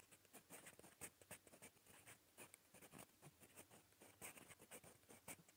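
A gold metal fountain pen nib writes in red-brown ink on a smooth lined paper notebook page, scratching lightly across the surface. Quiet, bright, scratchy strokes come in short bursts with brief gaps between them, each fading almost at once.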